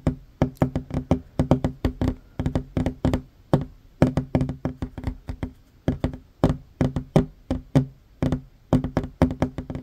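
Hands with short fingernails tap quickly on a flat, solid wooden tabletop, making about 45 dry, woody knocks in uneven bursts and runs. Each knock is short with almost no ring, carrying a low body near 254 Hz and a thin, crisp click on top.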